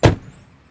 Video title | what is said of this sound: MERCEDES-BENZ 500 SEL: requinte com motor V8 | som seco de fechar a porta